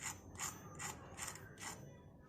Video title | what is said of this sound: शायद पहले कभी नहीं खाई होगी मक्का की टिक्की - Makka ke aate ke snacks - Makka ka aata - Makka tikki | listen to the sound of how crispy the tikkis are, don't you like how crispy they are from outside